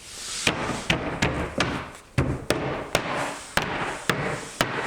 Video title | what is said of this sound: Base Two Door Five Drawer Assembly (B2D5D) Updated Spring 2022 | You can hear that nice dull thud where it lines up.